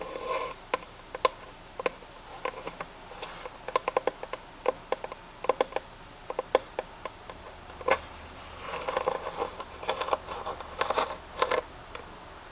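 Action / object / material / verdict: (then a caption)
tap / carved wooden box / wood / none. A textured wooden box from India, carved with a pinecone design and used to hold printer paper, is tapped and scratched. Dozens of short, dry, woody taps with a mid-pitched tone patter irregularly throughout. Stretches of softer scratchy rubbing along the carved surface fill the gaps, especially toward the end.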